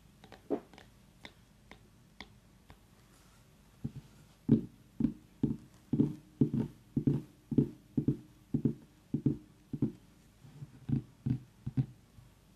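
Long nails tap and scratch the rind of a very small orange pumpkin, first while it is held, giving light, sharp clicks, then after it is set on the table, giving louder, hollow, low-pitched knocks. Around thirty quick, dry taps come in a loose rhythm of about two per second. An essential-oil diffuser runs quietly nearby under a faint steady background.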